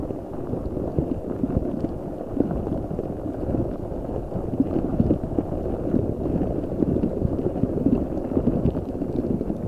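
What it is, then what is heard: Rubber spiky ball filled with water beads. A large rubber spiky ball full of gel water beads is squeezed and rubbed by both hands and briefly lifted above the microphone. A steady, dense stream of soft squishing and crackling fills the low and middle range with almost no bright content. Small peaks rise and fall throughout without clear gaps.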